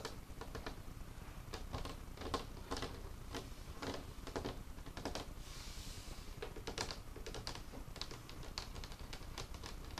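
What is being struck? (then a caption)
Old wooden table. Fingertips of both hands tap rapidly and irregularly on the surface of an old, solid, dark, worn wooden craft table with paint spots. Each tap makes a short, dry, crisp click that dies out almost immediately, over a steady low background rumble. Partway through, a brief soft, bright swishing sound is heard.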